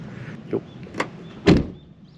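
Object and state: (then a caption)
Sound-deadened car door with a solid, damped closing thud. A sheet-steel door on a Daihatsu Copen kei car, fitted with sound-deadening material, is swung shut: a few light knocks lead into one heavy, low thud that dies away quickly. The close sounds solid and muted, unlike the light, tinny bang typical of an untreated kei car door.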